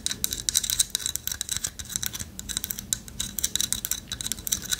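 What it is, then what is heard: Carved wooden owl figurine. Long fingernails scratch and tap the hollow latticework of a light wood carved owl figurine held in one hand. The result is a rapid, uneven stream of crisp, bright clicks and scratchy rasps with almost no low end, and each tick dies away instantly.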